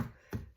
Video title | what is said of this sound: CRISPY PORK CUBAN CALZONE | When you hit it and it sounds hollow, then it's done.